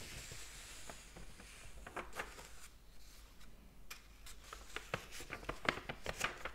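Fingers turn a page of a large open hardcover book and rub across its thin paper pages. The sound is a quiet, papery rustle and hiss with a series of short, bright, crisp ticks and flicks. The ticks come irregularly and grow a little louder toward the end.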